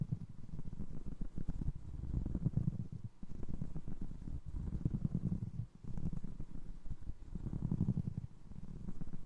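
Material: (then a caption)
Foam resin. A single navy blue foam resin Crocs clog is handled with fingertips, first tapping the side of the upper and then scratching its ridged sole. The sound is a dull, muffled patter of soft taps and rubbing, almost entirely low-pitched with no bright edge. The bursts come in waves with brief pauses between them.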